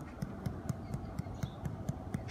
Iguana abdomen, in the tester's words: it sounds hollow there because of that loop of intestine is pushing against that side